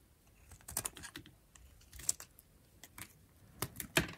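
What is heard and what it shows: A metal utility knife blade scrapes and shaves curls off a cream-white bar of dried soap held in the palm of a hand with long painted nails. The sound is a series of short, dry, crisp scrapes and clicks with a bright, high edge, coming at irregular intervals over a quiet background.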